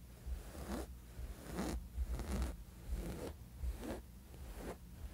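Fingertips and short nails of both hands scratch the flat, textured surface of a soft, thin woven fabric sleep mask. Repeated raspy strokes sweep up into a bright hiss, one after another in a steady rhythm. A low, steady hum sits underneath.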